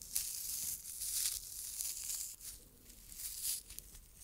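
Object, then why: Stuffed fabric pincushion. Long red nails scratch the fabric surface of a small, soft, stuffed red tomato-shaped pincushion with a green top. The result is a bright, dry scratching rustle that comes in uneven bursts and fades softer toward the end.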